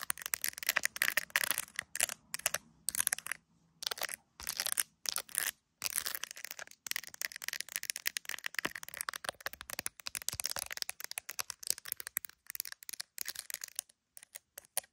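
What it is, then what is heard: Plastic phone case tapped and scratched with nails. Long nails tap and scratch the back of a handheld iPhone in a clear plastic gummy bear case, seen in a mirror. Quick, crisp clicks and dry scratching come in dense bursts with short silent gaps between them. The sound is bright with almost no low end, and each tap dies away instantly.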